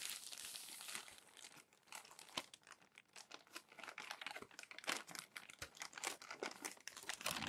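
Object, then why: Glossy magazine paper. Hands turn the crinkly pages of a crumpled glossy paper magazine stack and smooth them flat with the palm. The result is quiet, dense, bright crinkling and crackling with sharp papery snaps and occasional tearing-like rustles, with almost no low end.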